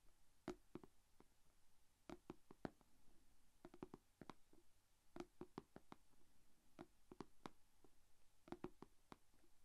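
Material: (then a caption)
Plastic. Long painted fingernails from both hands tap on the closed lid of a small, shallow, rectangular clear plastic food container that holds glitter slime. The taps are quiet, sharp and dry, arriving in quick irregular clusters with almost no ring, and each carries a low hollow body around 270 Hz with a brief bright click above it.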